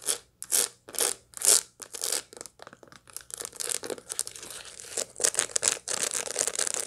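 Long light-blue acrylic nails scratch and tap across the seed face of a large dried sunflower head, about a hand-span wide or more, held in one hand with its seeds still packed in and green bracts around the rim. Dry, bright crunching and crackling scrapes come in separate bursts at first, then run together into a denser, near-continuous scratching. The sound is quiet and crisp, sitting mostly in the high range with almost no low end.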